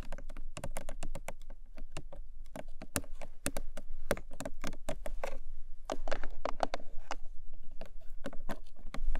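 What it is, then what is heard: Hollow paperboard box tapped with nails. Long nails rapidly tap a long, narrow, hollow pink paperboard product box lying flat. The result is a dense run of quick, dry, hollow clicks with short broadband transients, each decaying almost at once over a soft low rumble.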